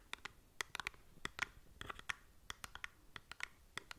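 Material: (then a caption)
Cardboard. Long nails scratch the faces and edges of a small, hollow cardboard cosmetic product box held close to the mic. About twenty quick, dry, bright scratches and clicks follow one another irregularly, each dying away almost instantly. The overall sound is quiet and papery, with little low end.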